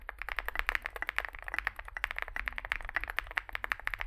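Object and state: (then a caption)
Mechanical keyboard with plastic keycaps. Fingertips type continuously on a small Zoom65 65% mechanical keyboard with a dark case and white and grey plastic keycaps. About 26 quick, dry clacks follow one another with almost no ring, centered in the upper mids with a bright top. A faint low hum sits beneath the clacks.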